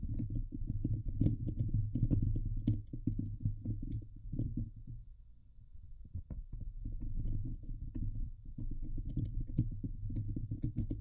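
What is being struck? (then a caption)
Steel wire-mesh microphone grille. Fingernails scratch fast with both hands across the hollow steel wire-mesh dome grille of a Blue Yeti microphone. The result is a dense, low, rumbling scrape with scattered bright ticks. The sound thins to a quieter, duller stretch around the middle before the full scratching returns.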